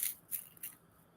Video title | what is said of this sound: 🍃 LENTIL FUSION PATTIES | Can you hear how crispy that is?